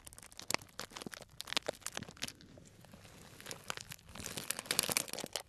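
A small tied bag of clear plastic cellophane, full of dried tea pieces, is squeezed and crinkled between fingers. It makes bright, crackly crinkling with sharp little snaps and a dry rustle of the pieces shifting inside. The sound eases in the middle and grows denser and louder toward the end.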